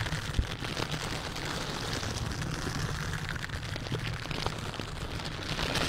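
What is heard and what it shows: A silicone bristle dish glove worn on the hand scratches and rubs the hollow metal mesh grille of a large white condenser microphone in repeated strokes. The result is a dense, steady, crackly scratching over a heavy, boomy low rumble, with bright gritty rasps on top and a few sharper pops.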